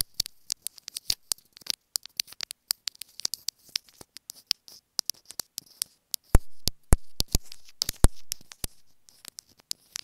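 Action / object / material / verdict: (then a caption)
tap / small plastic earphone inline remote / plastic / none. Long acrylic nails rapidly tap and scratch a small, hollow white plastic inline remote and microphone on a white earphone cable held in one hand, so the contact is picked up directly by the microphone. The result is a fast, irregular patter of sharp, dry clicks with bright, scratchy detail, and a few heavier, booming knocks in the second half.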